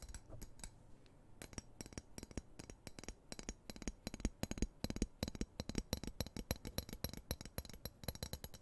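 A large, solid, dark-coated steel knife blade is held in one hand close to the mic while the other hand's fingertips and nails tap and scratch along its flat. Quiet, irregular, rapid clicks and sharp taps are heard, each short and dry with a bright edge and a low thump. Faint scratching runs between them, with sparser taps in the first second and denser tapping after.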